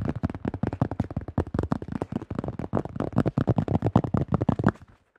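Fingertips and nails tap rapidly on a thin-shelled yellow plastic disc golf disc close to the mic, producing a fast run of about 26 short, dull, hollow knocks. The taps are mostly low and thumpy, with quick clicky edges that die away almost instantly, and the run stops just before the end.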